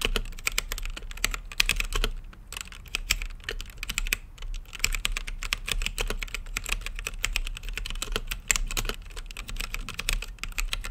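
Fingertips type continuously on a mechanical keyboard with plastic keycaps set in a translucent acrylic case. The result is a dense run of sharp, bright clicks and clacks that stop almost instantly, with brief pauses near 2 and 4.5 seconds over a steady low hum.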